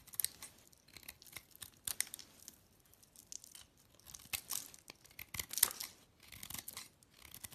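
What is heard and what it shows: A white bar of soap, its pink layer mostly removed to leave a solid white core, is scraped and cut with a utility-knife blade. Quiet, dry, crisp scraping and slicing sounds come in irregular bursts, with bright high-frequency crackle and almost no low end.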